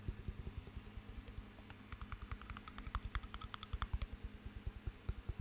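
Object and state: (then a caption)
Small glass jar of water with metal lid, tapped. A small glass jar, partly filled with water and topped with a metal lid, is held beside the mic and tapped with the fingertips and nails. About twenty quick taps land as soft low thuds, some with bright clicky edges, each dying away almost at once over a faint steady low hum.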